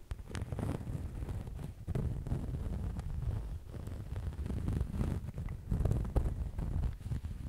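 A medium black faux leather cosmetic bag, soft and apparently filled, is scratched and rubbed with fingernails. The sound is a dense, continuous low rumbling scratch, with scattered sharper scrapes and brief bright ticks over the top.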